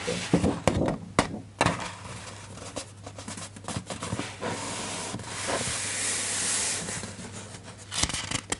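Fingertips rub and trace across the printed paper page of a large open hardcover children's picture book lying on a desk, then lift and turn the page. Soft, bright papery rustling and scraping swell and fade, broken by a few sharp taps and crinkles, over a faint steady low hum.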